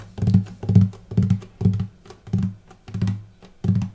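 Fingertips and nails tap the light spruce top of a hollow wooden acoustic guitar on the upper bout near the bridge, without plucking the strings, though they may ring slightly. Short clusters of soft, hollow, low thumps repeat at an uneven pace, each with a deep body resonance that fades quickly.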